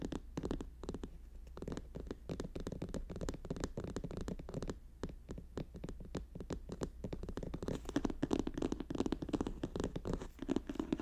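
Fingers rapidly tap and scratch on a paper notebook in an irregular, quick rhythm. The dull, papery taps and scrapes are short and dry, centered in the low-mid range with little brightness.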